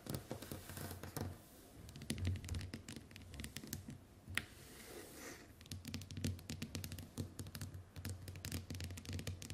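Long white nails scratch and tap across the glass screen of a small, flat smartphone lying on a wooden table. Quick, clicky taps mix with dry, scratchy strokes, each one short and dead with no ring, and a soft, dull thump underneath. The tapping keeps up a steady, quiet patter with brief lulls.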